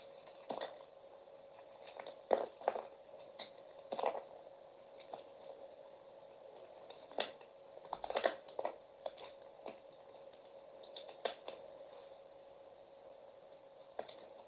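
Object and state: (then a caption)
Bar soap being carved. A metal utility knife blade shaves the red outer coating off a solid peach bar soap held in the hand, carving it into a block. Quiet, crisp scrapes and crackling cuts come at irregular intervals, some in quick clusters, over a steady faint mid-pitched hum.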